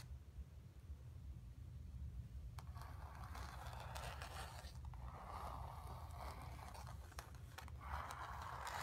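Long nails scratch and tap the surface and edges of a stretched, painted cotton canvas lying on carpet with a hollow back. After about two and a half seconds of quiet low rumble, dry rasping scrapes begin, mixed with sharp, bright ticks. A steady low hum runs underneath throughout.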